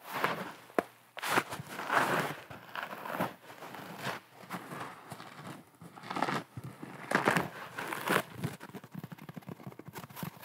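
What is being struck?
Natural sea sponge.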